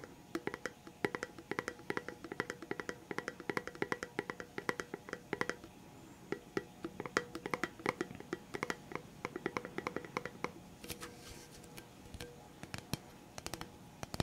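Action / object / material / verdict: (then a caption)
tap / cardboard tube can with plastic lid / cardboard / none. Fingertips tap rapidly and steadily on the plastic lid and sides of a hollow red Pringles chips can, a cardboard tube with a plastic lid. Each tap is a soft, dry, hollow knock with a mid-pitched tone that dies away almost instantly. The quiet tapping keeps going throughout, with a few brief lulls.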